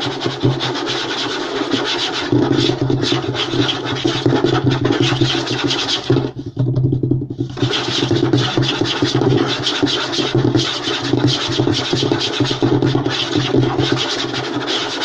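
Short nails and fingertips of both hands scratch and rub aggressively across a flat, light wooden tabletop, producing a dense, continuous rasping with a low hum-like undertone and bright scraping texture. The scratching eases briefly at about six and a half seconds, then resumes just as fast and rough until the end.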